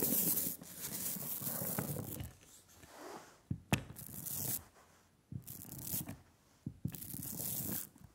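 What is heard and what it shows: A rubber brayer rolls velvety black printing ink across a glass slab, making a sticky, tacky hiss with a bright crackle over a low rumble. The rolling comes in several long passes separated by quieter pauses, with a few sharp clicks between them.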